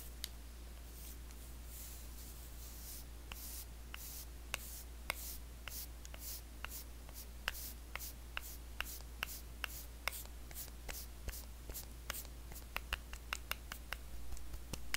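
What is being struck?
Plastic facial cleansing brush.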